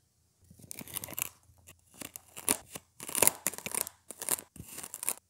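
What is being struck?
Kinetic sand slab scraped with a plastic stick.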